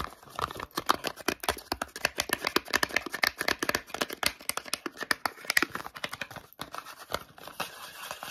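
A small, hollow, rectangular white and blue printed Sanex cardboard toiletry box is held in the hands and tapped and scratched quickly with short natural fingernails and fingertips. A fast, chaotic stream of sharp, dry clicks and scratchy rustles sounds bright with almost no low end. Each hit stops dead with no ring.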